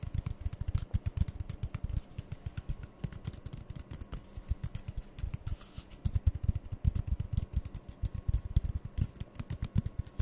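Fingertips and nails rapidly tap and squeeze two identical empty, hollow brown cardboard toilet-roll tubes held in the hand. The result is a dense, continuous stream of soft, dull, low thumps and muffled pats that stop short with no ring and carry almost no bright content.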